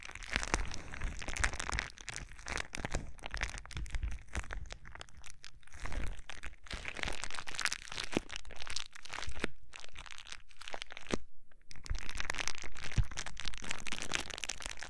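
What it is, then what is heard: Plastic bubble wrap. A sheet of clear plastic bubble wrap is held against the microphone and crinkled and squeezed with fingertips. It makes dense, continuous crackling and crunching with sharp, quick snaps over a heavy low-frequency rumble from the close handling. Brief quieter pauses fall around the 9 to 11 second mark before the crinkling resumes strongly.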